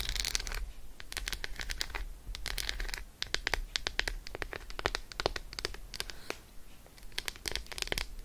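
An unwrapped solid Roshen milk chocolate bar, first held and then resting on faux fur, is scratched with long acrylic nails. The result is a fast run of crisp, bright clicks and short scratchy strokes with a dry, quick finish, over a low steady background hum.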